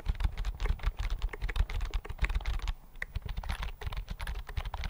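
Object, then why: Thin plastic chiclet keyboard. Fingertips type steadily on the flat chiclet keys of a thin white plastic keyboard held in both hands. The result is a dense run of quick, dry, soft clicks with a low, thumpy body and a faint brighter tick on each press, each dying away almost instantly.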